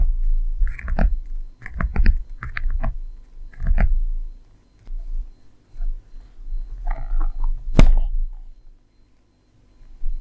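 Long manicured nails tap and scratch across the top flap of a closed, hollow, medium red handbag of leather or faux leather with chevron quilting, resting on a table. Soft, dull taps with a deep low thud come in quick clusters, mixed with short scratchy rustles, and one sharper, brighter click near the end. The quiet gaps between strokes leave only a faint low hum.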